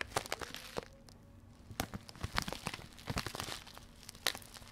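A full, soft blue plastic bag of grated coconut is crinkled, squeezed and scratched with long red-painted fingernails close to the mic. Quiet, dry, bright crackling comes in quick irregular bursts with short pauses, and each crinkle stops almost instantly.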